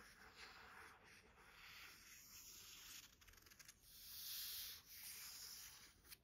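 A long fingernail and the flat of a hand rub and scratch across the printed matte card front cover of a thick paperback thriller, "Чёрная тропа", a solid block of paper lying on a desk. The sound is a quiet, bright, hissy sanding-like rub with a flurry of faint scratchy ticks partway through. It then swells into a longer, louder sweep near the end.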